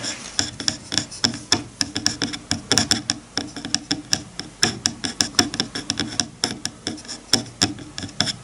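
Fingertips rub and scratch along the teeth of a wide-toothed bamboo hair comb lying on a bamboo cutting board. The result is a rapid, uneven run of short, dry clicks and raspy scrapes with a bright, high edge and almost no ring.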